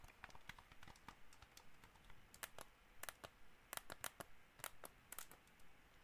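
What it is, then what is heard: Plastic game controller, hollow shell. Fingernails tap quickly and unevenly on the hollow shell and buttons of a white plastic gamepad, making dry, bright clicks that stop almost instantly. The taps come in irregular bursts over a low, quiet background.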